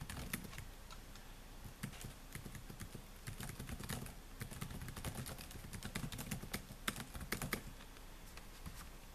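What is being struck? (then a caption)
Laptop keyboard with plastic keys. Fingertips type steadily on the black plastic keys of a silver laptop, producing a quick, continuous run of light, bright clicks and taps over a faint low steady hum. The typing grows slightly busier toward the middle and end, then the hand comes to rest on the keyboard.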